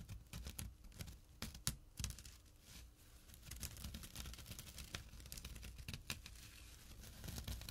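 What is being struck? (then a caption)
Jute burlap drawstring pouch. Fingertips and short nails scratch the woven fabric of a small, empty jute burlap drawstring pouch resting on dark cloth. The result is quiet, dry, crinkly rasping made of many short scratches with bright, crisp edges, over a soft low rumble and a faint steady hum.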